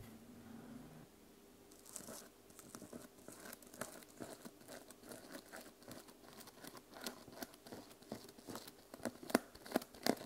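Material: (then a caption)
Plastic sequins. A small fabric journal with a teal plastic sequin cover is held on a table while fingertips and nails scratch and brush across the sequins. After a quiet opening, a dense run of soft, crinkly, scratchy rustles starts around two seconds in and continues irregularly. A few sharper, brighter clicks stand out near the end.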